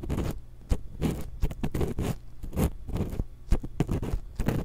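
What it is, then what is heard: Metal microphone grille scratched with wooden pick. A thin wooden ear pick, held in long-nailed fingers, scratches the metal mesh capsule grille of a small hollow X-Y stereo microphone. The result is a rapid series of dry, close scraping strokes with sharp taps between them, heavy in low rumble and set against brief quiet gaps.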